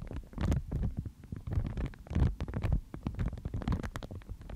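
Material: Paper.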